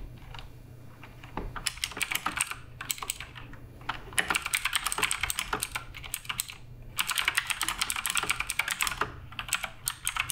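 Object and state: Mechanical keyboard with plastic keycaps.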